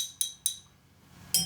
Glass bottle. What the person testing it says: you can hear the difference in tone that results from the change in mass